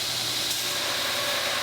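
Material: Nothing is struck.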